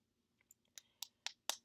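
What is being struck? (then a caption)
Small plastic liquid lipstick tube. A new Milani matte liquid lip cream tube is shaken to keep the liquid lipstick from separating. A couple of faint clicks are followed by four sharp, bright, dry clicks at a steady pace, each dying out almost instantly in a quiet setting.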